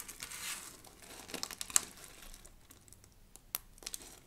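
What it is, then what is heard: Dry soap shavings, crushed. Handfuls of thin pink and blue shavings from a pile of dry soap are squeezed and crushed in cupped hands, then pinched with the fingertips. A soft, bright crinkling crunch is broken by a few sharp, high crackling snaps that stop instantly. The sound is quiet and dry, with almost no low end.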